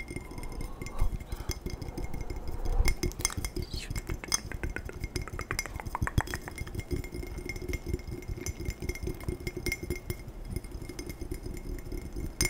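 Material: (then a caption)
Glass. A glass tumbler is tapped quickly and aggressively, producing a dense run of short, glassy clinks and chinks with little ring and a low, thumpy body beneath bright accents.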